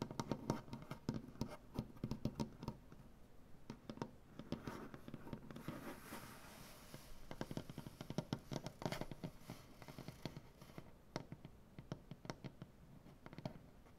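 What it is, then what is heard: Wooden butcher block table. Long dark-painted nails and fingertips tap and scratch a solid light wood butcher block tabletop. Quick, dry taps with a low, woody body and almost no ring come in bursts, with a softer, hissy scratching stretch in the middle of the clip.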